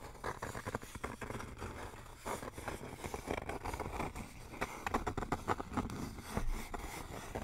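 Fingertips and nails tap and scratch a flat, thin, solid wooden sign with RELAX lettering, held upright in front of the microphone. The result is a quick, uneven run of dry, short knocks mixed with soft scraping, each tap dying away almost at once. The tone is woody, centred around 870 Hz, over a low rumble.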